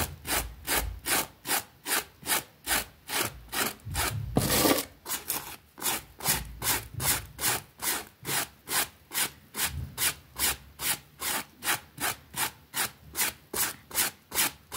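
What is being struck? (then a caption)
Small fabric rug scrubbed with a plastic bristle brush. A pink plastic bristle brush scrubs back and forth across a small, flat, wet green fabric rug with a rabbit print lying on a concrete floor. About 35 quick, bright, rasping strokes repeat at a steady pace, with one longer, louder swish near the middle.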